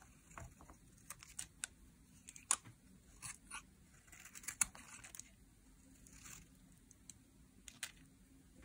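A utility knife blade peels long curls off a solid bar of translucent pink glycerin soap held upright. About a dozen quiet, bright, crisp scraping and crackling strokes come at an uneven pace over a faint low background hum.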